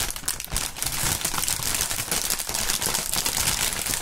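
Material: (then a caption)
Plastic film. Thin, partly inflated clear plastic air-pillow packing film with green print is held above a mat and crumpled by both fingerless-gloved hands using the fingertips. A steady, bright crinkling with dense crackles runs throughout, mostly high with a light low rustle underneath.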